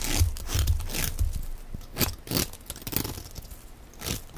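A utility knife blade shaves crumbly flakes off the face of a solid, hand-sized, yellow rounded rectangular bar of dry soap held in one hand. Short, dry, crunchy scraping strokes repeat at an uneven pace, each a bright, rasping burst with a low thump underneath. Between strokes there are faint crackles.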